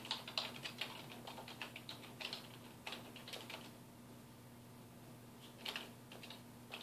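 Fingertips of both hands type on a black plastic computer keyboard resting on a wooden desk, producing quick, bright clicking key taps. A run of taps is followed by a short pause before typing resumes, all over a faint, steady low hum.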